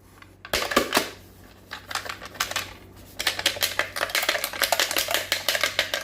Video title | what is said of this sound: 1994 Honda Civic Manual Rearview Mirror Repair | when I shake this, you hear those parts rattling around in there. It broke